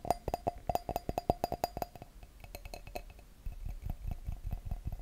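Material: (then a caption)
Glass. Fingertips and nails tap an empty clear wine glass bowl held over a microphone, giving a quick run of sharp clicks, each with a brief ringing tone near 700 Hz. The tapping then gives way to softer scratching on the glass, with muffled low thumps and rumble as the bowl shifts against the mic.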